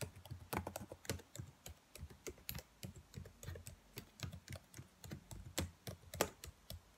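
Fingernails tap and type on the black plastic keys of a dark laptop keyboard, giving a steady run of short, dry clicks with a low thump under each press. Occasional sharper taps add bright, crisp edges, and every click dies away almost instantly.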